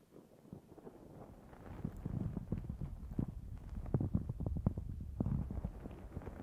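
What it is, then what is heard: Foam microphone windscreen being scratched. Long fingernails on both hands scratch a black foam windscreen fitted on a Zoom H6 recorder. The result is a close, muffled, low-heavy rustling of dense scratchy bursts that grows louder after the first second and stays busy to the end.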